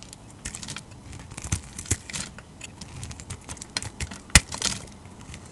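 A utility knife blade shaves flaky curls off a solid, hand-sized bar of dark red translucent glycerin-type soap. Soft, crisp scraping and crackling strokes repeat throughout, bright and airy with a light low thump beneath. One sharper, louder crack stands out near the end.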